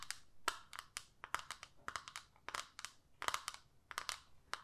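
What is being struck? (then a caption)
Small plastic eyeshadow palette with clear lid. Long nails tap and scratch the clear lid of a small plastic eyeshadow palette. About twenty quick, dry, crinkly clicks and scrapes come in an uneven rhythm, each bright with a midrange center near 1.2 kHz and almost no low end. Each sound dies away almost instantly.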